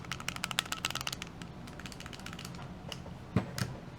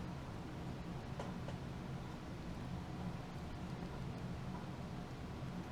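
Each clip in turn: First: A fast burst of dry, bright clicks as a small pistol is shaken, the rattle of loose internal parts. Second: A hard shake of a compact pistol gives no rattle, only a faint tick or two over low room hum.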